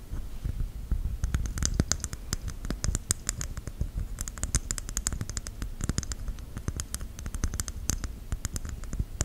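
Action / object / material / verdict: tap / whole coconut with fibrous husk / coconut shell / none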